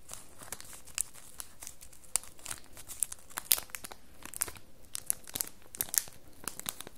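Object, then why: Cardboard box in cellophane wrap. Long nails scratch and rub the crinkly cellophane wrap on a small, red printed cardboard soap box held in the hand. Dense crinkling and sharp, bright scratchy clicks sound over a low, steady hiss, with a faint steady tone around 500 Hz. The louder snaps come at irregular moments and stop dead without ringing.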